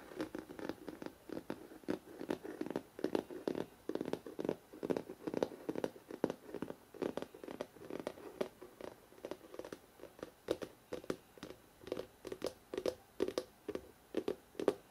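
Fingertips and short nails tap and lightly scratch the glossy paper front cover of a large, solid hardcover photo book. The result is a quiet, fast, irregular patter of dry clicks that fade almost instantly, with a soft scratchy texture and a low-mid body.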